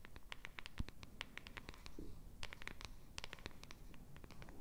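Long red nails quickly scratch and tap the surface and edge of a small pink printed cardboard box held in a hand. A fast, quiet stream of dry scratches and crisp, bright clicks dies away almost instantly over a low, steady rumble.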